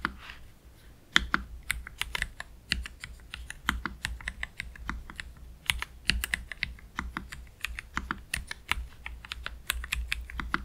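Fingertips of both hands type slowly on a black Keychron K3 Pro low-profile mechanical keyboard with Gateron Red low-profile switches and plastic keycaps, resting on a desk mat. Short, bright, clicky keystrokes land in an uneven rhythm over a faint steady low hum, each dying away almost instantly.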